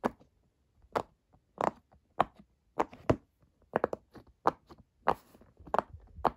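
Fingertips press the hollow bubbles of a square rainbow silicone pop-it fidget toy, partly lifted in the middle. Fourteen short, dry, mid-pitched pops come at an uneven pace, some in quick clusters. Each stops almost at once with no ring.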